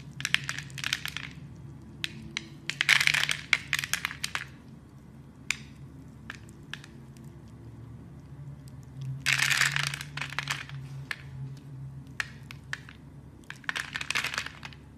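A utility blade chips small cubes off a hand-sized, solid, translucent red glycerin-like soap bar that is scored in a grid and held in fingers with red nails. Dense bursts of crisp, bright crunching and crackling come in clusters, with single sharp snaps and clicks between them over a faint low hum.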